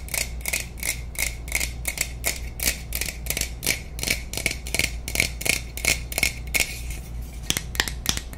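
Long nails tap and scratch the side of a tall aluminum aerosol spray can with a plastic cap, hollow and pressurized. The result is a rapid, slightly uneven series of short, bright metallic clicks with a thin ring around 2.3 kHz, over scratchy hiss and a low steady hum.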